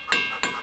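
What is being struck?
Igneous rock boulder struck with a hammer.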